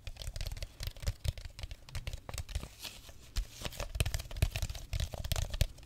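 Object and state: Plastic bottle.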